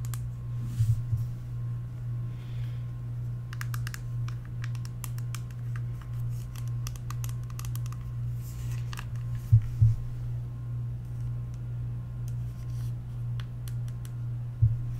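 Long acrylic nails tap and scratch a small, flat, black plastic e.l.f. bronzer/blush compact with a hollow case. Light, dry clicks and scratchy ticks sit over a steady low hum, with a few louder knocks near the start, middle and end.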